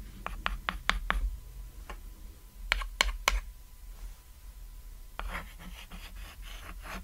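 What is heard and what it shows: A white chalk stick draws and writes on a flat, solid cat-shaped painted chalkboard resting on red fabric. Sharp, bright taps and short scratching strokes come in uneven bursts, followed by a softer, continuous scraping of chalk lines toward the end, over a low steady hum.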